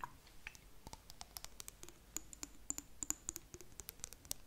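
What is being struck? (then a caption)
Small glass jar. Long nails tap on a small clear glass jar with blue contents held close to the mic, making a quiet, irregular run of about 26 crisp, bright clicks. Each tap is short and dry with almost no ring, its glassy tone sitting high over a faint low hiss.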